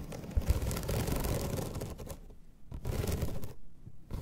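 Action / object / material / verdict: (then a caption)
scrape / bamboo slat placemat / bamboo / none. Long red nails scratch across the ribbed surface of a flat bamboo slat placemat, producing a dense, raspy, crackling scrape. A long stretch of scratching fades out, followed by a shorter burst after a brief pause and a final quick scrape at the end.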